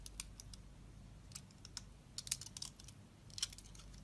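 A knife blade shaves soft curls off a solid light-blue bar of soap held in the hand. Quiet, crisp, bright scraping crackles come in irregular bursts over a low, steady background hum.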